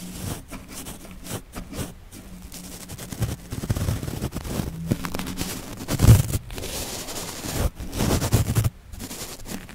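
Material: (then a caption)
Steel mesh. The tips of a small yellow-bristled paintbrush brush and stroke over the bare, hollow woven steel grille of a Blue Yeti microphone. The close strokes make a deep, boomy scratching rumble with short bursts of bright bristly hiss, swelling and fading as the brush moves across the mesh.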